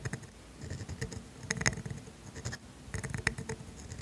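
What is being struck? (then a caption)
Steel dip pen nib on thin grid paper. A steel calligraphy dip pen nib scratches ink strokes across thin grid paper while writing the words "and mine." The sound is a quiet, irregular series of short, dry scratches and ticks. Some strokes catch sharply with a bright edge, over a low, soft rustle.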